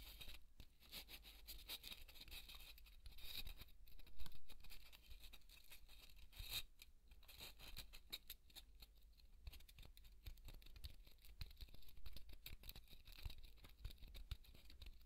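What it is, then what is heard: Polystyrene foam ball. A large white solid polystyrene foam ball, held in both hands, is scratched and tapped with fingertips and short nails. The result is a quiet, continuous stream of dry, squeaky scratching and crisp crackling taps with bright edges, over a steady low hum.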